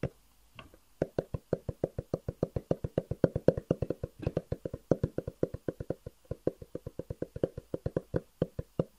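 A long, hollow black cardboard box with white edges is held and tapped quickly with the fingertips. A rapid, steady run of short, dry, hollow taps follows, with a mid-range resonance around 500 Hz and almost no ring after each hit.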